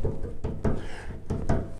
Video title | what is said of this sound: Tech Tips 1- 2023- Diagnosing Rattles- band instrument repair- Wes Lee Music | you can hear that vibration zing zing zing just by tapping with your finger